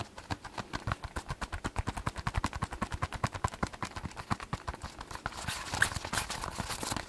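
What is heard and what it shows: A massage ball is tapped rapidly with quick, dry clip-clop-like knocks that have little ring. Near the end the taps blur into a brighter, hissier scratching over the ball.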